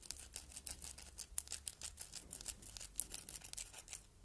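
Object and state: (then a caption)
Glass heart paperweight tapped with fingernails. Long red nails tap and scratch the front of a palm-sized solid red glass heart paperweight decorated with engraving and rhinestones. The result is a quiet, bright run of quick clicks and scrapes with no ring after each touch, plus a faint low hum underneath.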